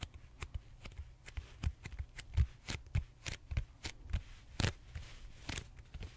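Fingertips and short nails scratch and tap the textured surface of a large, purple, solid styrofoam foam roller held horizontally. The result is a quick, uneven run of short, dry taps with low, thumpy bodies and bright, crisp scratchy edges, and none of them ring on.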